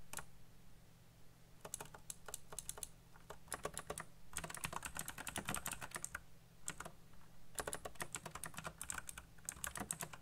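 Fingertips type fast on a black plastic backlit mechanical keyboard, producing bursts of bright, sharp key clicks separated by short pauses. A steady low hum sits underneath throughout.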